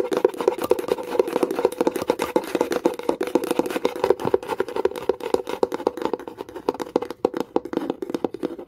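Long nail tips tap fast and hard on the lid of a small wooden box with a metal clasp. The result is a dense, continuous stream of crisp, dry clicks with a hollow woody tone in the low-mid range. Each tap dies away almost instantly.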